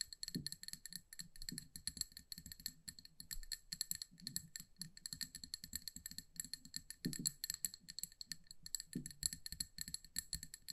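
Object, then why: Glass jar filled with candle wax. Long nails tap rapidly around the rim and sides of a hand-sized amber glass jar filled with candle wax. The result is a quiet, steady stream of short, crisp clicks with a bright glassy ring near 1.8 kHz and higher, over soft low thumps from the wax-filled body.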